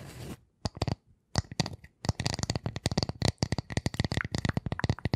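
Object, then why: Round wooden disc. Long nails scratch and tap the edge and face of a flat, solid, light round wooden disc held close to the microphones. A brief scratchy rustle opens the clip, followed by about two dozen quick, dry taps with a low, hollow thud and a bright clicky edge. The taps come in uneven bursts and die away almost instantly.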